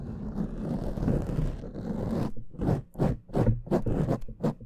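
Fingernails of both hands scratch the soft, porous black foam windscreen on a large microphone, producing a dense, muffled rumbling scrape heavy in low frequencies. After about two seconds of continuous scratching, the sound breaks into separate short strokes with brief pauses between them.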